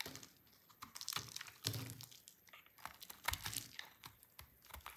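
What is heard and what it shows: A hand-held, dry and hard orange bar of soap is shaved and cut with a utility knife blade, throwing off crunchy flakes. The clip is a quick run of short, dry, bright scraping crackles that stop almost instantly, with brief pauses between the cuts.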